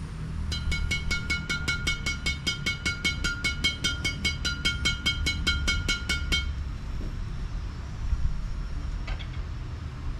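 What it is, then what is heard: Tightly strung badminton racket. A badminton racket strung with very thin Kizuna Z58 string at 24 lbs tension is tapped on its strings as a sound test to judge the tension. A rapid, steady run of bright, short pings with a clear ringing tone near 1.4 and 2.3 kHz lasts about six seconds over a low background rumble, then stops. The pings confirm a tightly strung racket.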